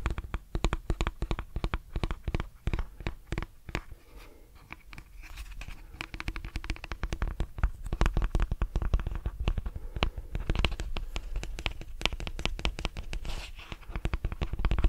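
Fingernails strum and scratch the plastic bristles of a lilac plastic detangling brush, producing a rapid stream of dry clicks and ticks with a soft, low-heavy body. The strumming eases into a quieter, scratchier stretch partway through, then picks back up into dense, steady flicking.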